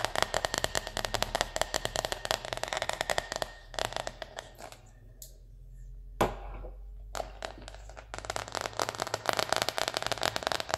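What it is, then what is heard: Synthetic fabric zipper pouch. Long red nails scratch and tap the coated synthetic fabric surface of a small red cosmetic zipper pouch with a white dotted circle print, held in both hands and holding something soft inside. Dense, rapid, crackly scratching and tapping fills the first few seconds. It thins to quieter rustling with a single sharper tap in the middle, then the fast crackling returns.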